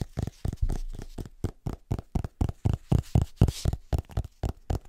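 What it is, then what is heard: Hardcover book. Fingertips and short nails tap and scratch the front cover of a large, solid, illustrated hardcover atlas held upright. About nineteen dull, low, thudding taps come at roughly four per second in an uneven rhythm, each dying away almost instantly, with light scratching between them.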